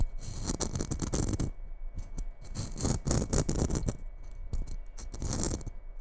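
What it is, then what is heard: Glitter-coated Christmas bauble. Long red acrylic nails tap and scratch the rough glitter surface of a small red glitter-covered Christmas bauble, likely hollow, held just above the microphone. The result is irregular bursts of scratchy, rattling taps with a bright, hissy edge over a heavy low thump, with short pauses between clusters.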